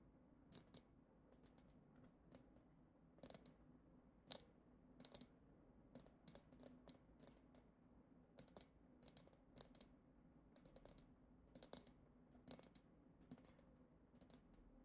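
Long acrylic nails tap the bowl of a clear, hollow glass goblet-shaped vessel decorated with silver glitter swirls, empty apart from loose glitter. The result is quiet, irregular clusters of sharp, bright clicks that stop almost instantly with no lingering ring, over a faint low background hum.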